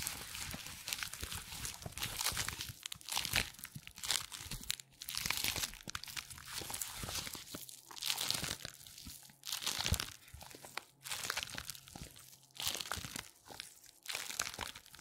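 Hands in black nitrile gloves gather and twist a wide, thin purple latex exercise band in their fists, making it crinkle and squeak. Dense, bright crackling comes in uneven bursts, centered around 2.6 kHz, with short quieter gaps between squeezes. A faint steady low tone runs underneath.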